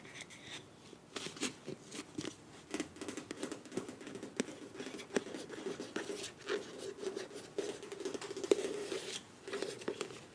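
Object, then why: Soft plastic squeeze tube. Long nails tap and scratch the body of a filled beige plastic face wash tube with a bronze cap. The result is a quick, irregular run of soft, dull clicks and scrapes that stop short, with a hollow tone near 400 Hz and light, bright scratchy edges.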